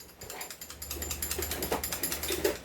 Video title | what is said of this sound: Review N Unbox of Daniel Defense MCQB & Hi-Capa 2011 | Kumakalog ang barrel kasi hindi upgraded.